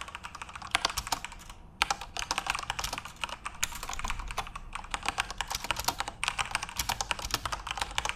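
Fingertips type steadily on a full-size RGB-backlit Corsair mechanical keyboard with plastic keycaps. Dense, bright, sharp clicks and clacks come in quick bursts, with short pauses near two seconds and around six seconds.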